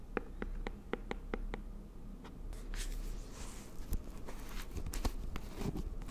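A round green plastic aloe vera gel jar is held in both hands while its lid, side and bottom are tapped and scratched with long nails. A quick run of short, dry, hollow taps comes first, then a bright scratchy rustle over the plastic mixed with scattered sharp clicks. The taps die out almost instantly with no ring, over a low, soft background rumble.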